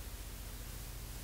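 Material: Nothing is struck.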